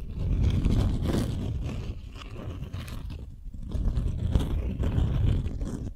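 Long nails scratch and tap a folded beeswax-coated cotton wrap sheet held in both hands, working over the stiff, waxy fabric. The result is a dense, low, rumbling crinkle and scrape with faint brighter rustle on top, easing briefly near the middle before building again.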